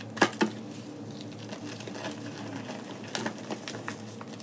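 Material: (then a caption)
Magnesium carbonate. Fingertips and long nails dig into loose, pink-white crumbled gym chalk (magnesium carbonate) powder with small lumps in a white plastic tub, crushing it and letting it fall. Two sharp, bright crunches open the clip, followed by a soft, steady crackling patter and another cluster of crisp crunches near the end.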